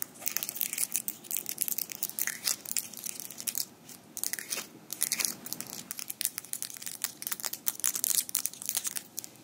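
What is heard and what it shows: Small metal fingerpicks worn on the fingers of both hands click and tap against each other as the hands interlock in front of the mic. The sound is a dense stream of crisp, bright, rapid clicks in uneven bursts, each dying away almost instantly, with almost no low end.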